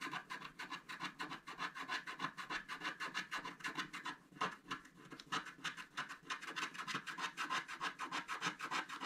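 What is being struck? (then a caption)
Scratch-art paper card with wooden stylus. A wooden stylus scratches the black coating of a scratch-art paper card resting on a table, working the upper area with quick, repeated short strokes. The result is a steady, fast rasping scratch, bright and papery. There are brief pauses around the four- and six-second marks.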